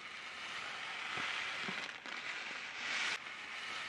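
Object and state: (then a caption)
Plastic snack packet. A sealed, apparently filled orange plastic-film Taiyo snack packet is held up and crinkled, twisted and shaken by hand with the fingertips. It makes a steady, bright, hissing crackle with a few soft low thumps, swelling briefly louder near the end before dropping back.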